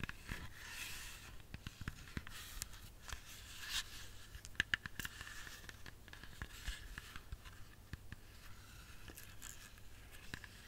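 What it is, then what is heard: Whole apple tapped with fingernails. A whole, solid red apple is tapped with long fingernails, making sparse, short, bright clicks that die away almost instantly, with a tonal band near 1.7 kHz. A steady low hum sits underneath throughout.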